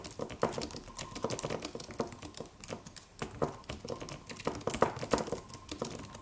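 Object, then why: Aluminum computer keyboard with plastic keys. Fingertips of both hands type on a slim, low-profile silver aluminum computer keyboard with white plastic keys. The result is a steady stream of quick, dry clicks and taps with uneven loudness, each click short and bright with a mid-range body and very little ring.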